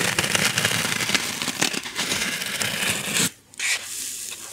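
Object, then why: Styrofoam packing block. A small white styrofoam packing block, held in the hand and pressed against the microphone, is rubbed and squeezed with long nails and fingers. It produces dense, bright crackling and squeaky scratching for about three seconds, drops to near silence briefly, then resumes more softly.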